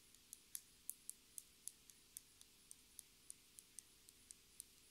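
A clear plastic lip gloss tube filled with pink gloss and topped with a metallic cap is held and tapped and scratched with long nails. Seventeen quiet, sharp, bright clicks come at a slow, uneven pace, each dying away almost instantly over a faint steady hum.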